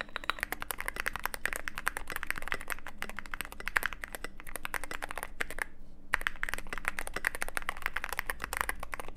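A mechanical keyboard with white and grey plastic keycaps in a black aluminum case is typed on continuously with both hands' fingertips. It makes a steady stream of short, crisp clacks centered in the upper mids, with a brief pause about two-thirds of the way through before the typing resumes.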